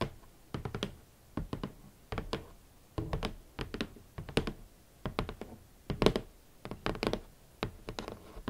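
A large, hollow, rigid red cardboard shoe box is tapped and knocked with long nails and fingertips in short, quick clusters separated by brief pauses. Each hit is a dull, hollow thunk with a low-heavy body around 440 Hz and a faint crisp nail click, dying away almost at once.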